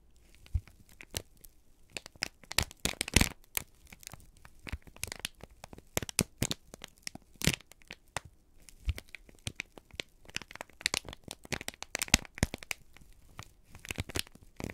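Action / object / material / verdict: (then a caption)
scrape / kraft paper sheet / paper / none. A folded, crinkled sheet of brown kraft paper is held in both hands and squeezed and crumpled with the fingertips. It gives a dense run of sharp, dry crackles and tearing-like crinkles with bright, high edges, all short and without ring. The crinkling keeps on steadily throughout.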